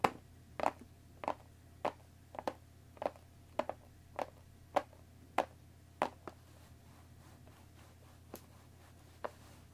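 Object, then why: Small cardboard tea box. Long nails tap and scratch the top surface of a hollow, rectangular cardboard Earl Grey tea bag box. About 16 short, dry, hollow-sounding clicks land at an uneven pace, thickest in the first six seconds and then spacing out. Each click stops almost instantly over a quiet, steady background.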